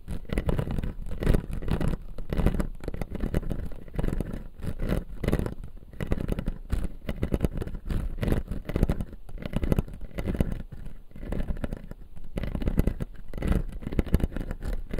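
Fingernails from two hands scratch and tap the upper plastic teeth of a clear acrylic dental model. The result is a steady run of dense, dull scraping strokes and quick light taps, heavy in the low end with little brightness.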